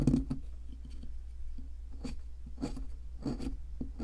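A metal chisel scrapes the solid white plaster around a fossil in a hand-held plaster excavation block. Short, gritty scraping strokes with bright edges come in repeated bursts over a steady low hum.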